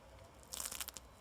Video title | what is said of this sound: pain croustillant et pizza | vous entendez? Ça croustille, c'est super.